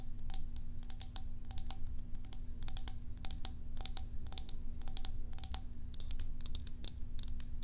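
A small, hollow, cylindrical white plastic tub with a green label and its lid on is held up and tapped with long acrylic nails on its side and lid. The result is rapid, bright, clicky taps in quick bursts, each dying away almost instantly, over a steady low hum.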